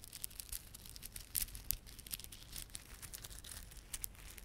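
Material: Plastic.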